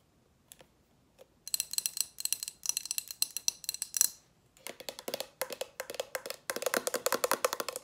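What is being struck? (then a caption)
Thick glass candle jar with wax inside. A large lit candle in a thick glass jar with a metal band at the base and solid wax inside is held in the hands and tapped and scratched with long acrylic nails. Two sparse taps open the clip, then rapid bursts of sharp, clicky taps follow, with a bright, glassy high ring that dies away almost instantly. In the second half the taps gain a fuller midrange body.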